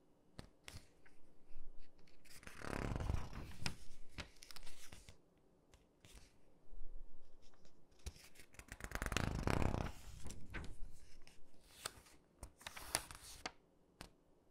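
Fingertips of one hand rub the corner of a page in an open glossy paper catalog, and both hands turn its pages. Quiet dry rubbing and scattered sharp paper ticks are broken by two longer, louder swishing page turns. The sound is mostly low and soft, with brief crisp clicks reaching up high.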